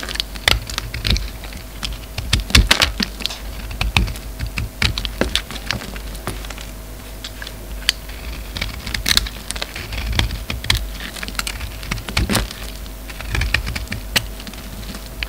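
A solid soap bar with a red rim and a black and white interior is shaved with a utility knife while held in the hand. A rapid series of short, crisp scraping clicks with bright edges sounds over a steady low hum, each shave dying away almost instantly.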